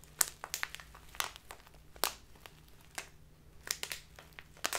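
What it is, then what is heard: Plastic tea bag crinkled. A clear plastic tea package with a label, full of loose tea, is squeezed and crinkled with fingertips and long nails. Quick, bright, dry crinkles and crackles come in bursts over a faint low hum.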